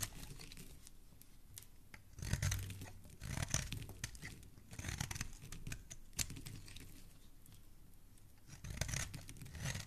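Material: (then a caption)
Soap. A metal blade repeatedly scrapes and carves shavings off the edge of a solid green bar of soap held in a hand. Soft, crisp scraping and crumbly tearing sounds come in uneven bursts with a bright hiss, separated by quiet pauses with a low hum.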